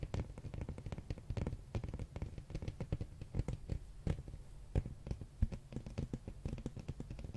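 A large, solid, flat hardcover art book with a glossy red dragon cover is held in hand and tapped and scratched with fingernails. Quick, dull, low-pitched taps come in a dense, uneven stream with soft scratching between them, each tap dying away almost at once with no ring.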